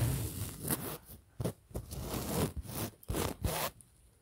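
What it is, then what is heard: Fabric pillow scratched. Fingers and nails scratch and rub the printed polyester cover of a large, soft pillow held close to the mic. About six separate bursts of scratchy, rasping friction rise and fade, each with a bright hiss over a soft low rumble. Brief quiet gaps fall between the strokes.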